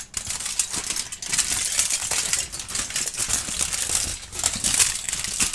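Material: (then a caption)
Aluminium foil. A wrinkled, thin aluminum foil sheet held in both hands is crinkled and rubbed between the fingertips, then spread flat. It makes a dense, continuous stream of bright, crackly crinkling with almost no low end. The level stays fairly steady, with a few brief dips between bursts.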